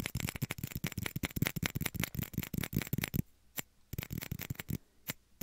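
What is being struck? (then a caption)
Small plastic shot glass. Small, hollow, empty clear plastic shot glasses, one held over each ear of a binaural mic, are tapped and scratched with fingertips and short nails. Dense, rapid, irregular hollow taps with a low body and bright clicks fill the first three seconds, then thin out into scattered sharp taps with quiet gaps.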